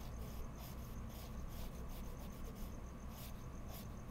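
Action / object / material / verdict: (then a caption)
scrape / colored pencil on heavy mixed media paper / paper / none. A pink colored pencil is rubbed across a heavy mixed media paper sheet in a sketchbook in small coloring strokes. A quiet, continuous scratchy rasp is heard, with short bright bursts from each stroke over a steady low rumble.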